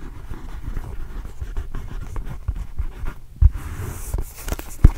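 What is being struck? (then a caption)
Small rubber basketball. A small, hollow, inflated red and blue Arizona Wildcats rubber basketball is held in one hand while fingernails scratch over its pebbled surface. The result is a quiet, low, dull rubbery rustle, broken by a couple of sharper, louder thumps near the end.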